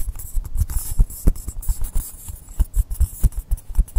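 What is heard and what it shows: Fingernails scratch and tap the side and top of a long, solid blue polystyrene foam block resting on a table. A rapid, uneven series of dull, soft low thumps comes with a thin, bright, scratchy hiss. Each tap dies away instantly, with no ring.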